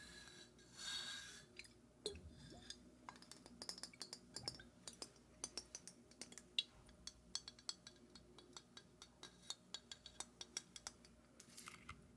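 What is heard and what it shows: A glass bottle of Macallan 12-year single malt scotch is tapped and scratched with fingers. It makes a long run of short, bright clinks and ticks with very little ring, mixed with softer scratching and brushing noise. Some faint liquid sounds come through underneath.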